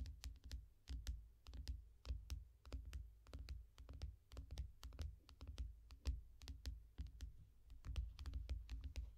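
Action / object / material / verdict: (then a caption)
tap / glass tablet screen in a foam rubber case / glass / none. Both hands tap and scratch with long nails on the glass screen of a small tablet lying flat in a yellow foam rubber case. The result is a quick, uneven stream of short, dry clicks with bright edges over a soft, low thump, with quiet scratchy rustles between taps.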